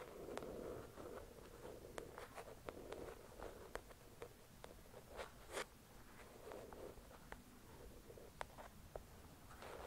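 Long acrylic nails scratch and tap the cover of a thick paperback novel resting on a white cloth. Soft, steady scratching runs underneath a series of sharp, bright clicks from the taps. The sound is quiet and close, with each tap stopping almost instantly.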